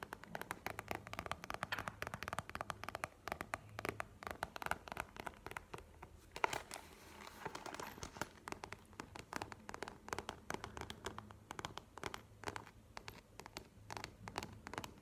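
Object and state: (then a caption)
Faux leather wallet, tapped and scratched. A flat map-print faux leather wallet with brown edges, held in the hands and resting on a table, is tapped and scratched with long nails. The result is a quiet, steady stream of rapid, dry clicks and scratchy crackles with almost no ring, over a faint low hum.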